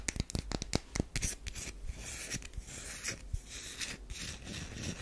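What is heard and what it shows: Long nails scratch along the grooved side of a solid tan bar of soap turned on its edge. A quick run of sharp, dry scratches is followed by a steadier, bright rasping scrape with a low rumble underneath.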